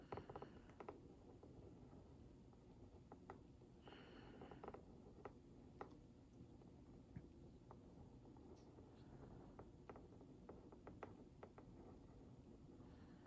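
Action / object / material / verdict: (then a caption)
scrape / cardboard box scraped with a wooden pick / cardboard / none. The tip of a wooden toothpick or skewer traces and scratches along the printed graphics of a hollow Oreo Mini cardboard box held in one hand. Very quiet, soft scratchy strokes and small dry ticks scatter over a low, dull rumbling background, with brief brighter scraping bursts.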